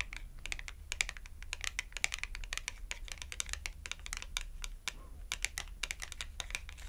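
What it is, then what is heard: Glossy cardboard clothing tag tapped with nails. A small red glossy cardboard clothing tag, held edge-on between the hands, has its edge tapped rapidly with long acrylic nails. The result is a dense stream of quick, dry, bright clicks with no ring, over a steady low hum.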